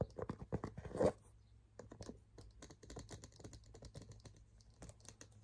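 Fingertips and nails tap rapidly on the body and strap of a hollow cream and light-blue leather shoulder handbag with a dark strap and tan trim, held up by hand. The dry, muffled clicks and knocks die out almost instantly, with a louder flurry and a stronger thump near the start. Softer, steady tapping follows over a faint low hum.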